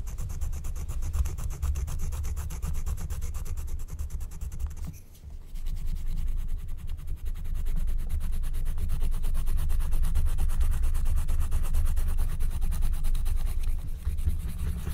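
A wooden stylus scratches a flat, thin, black-coated scratch-art card of wax-coated paper while a hand with long nails steadies it. Quick, rhythmic scratching strokes, about four per second, run steadily with a dull, low-heavy rasp. There is a brief pause near the five-second mark before the scratching resumes slightly louder.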